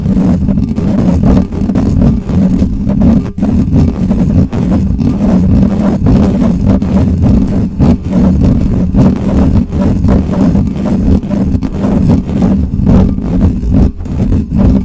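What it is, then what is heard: Metal microphone grille being scratched. Fingertips and nails of one hand scratch quickly across the bare, hollow metal mesh grille of a large black Blue Yeti-style USB microphone. The result is a dense, loud, continuous rumbling scrape, heavy in the low end with a hum-like tone near 184 Hz and almost no bright content. Rapid fluttering bursts run through it, with only brief dips.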